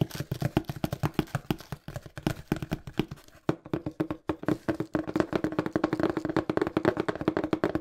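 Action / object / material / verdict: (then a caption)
tap / cardboard shipping box / cardboard / none. Fingertips tap fast on a small, hollow, brown printed cardboard shipping box in a steady rapid patter of short, dry knocks. The taps carry a hollow tone near 360 Hz and die away almost instantly. The patter pauses briefly twice before picking up again, denser and louder, toward the end.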